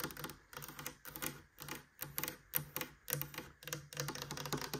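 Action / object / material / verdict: scrape / woven rattan cane cabinet door / rattan cane / none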